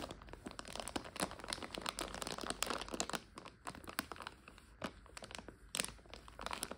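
Long nails crinkle and scratch a full plastic egg noodle bag held in both hands. A dense, bright stream of crinkling and scratching is heard, with sharp crackles standing out over a soft, quiet rustle.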